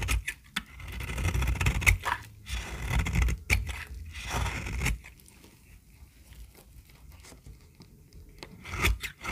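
A small, solid, peach-colored bar of dry soap is held in the hand and shaved with a metal utility-knife blade. The result is dry, crunchy scraping strokes with bright, gritty edges over a low rumble. The shaving is dense for the first five seconds, goes quiet with faint scrapes, then grows louder again at the end.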